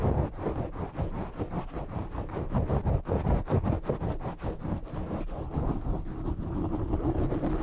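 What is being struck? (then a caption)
Foam microphone windscreen. Short nails scratch and rub the black foam windscreen on a desk microphone from the top and sides. The result is a dense, muffled, low rumbling scrape made of rapid, uneven strokes that continue without a break, with almost no high or bright content.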